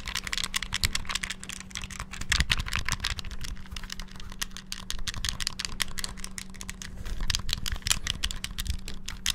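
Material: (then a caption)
Plastic. Fingertips rapidly press and tap the buttons of a small, hollow, clear transparent plastic Game Boy handheld held in both hands near the mic. A dense, fast stream of sharp, bright plastic clicks and taps with very short decay rides over a steady low hum.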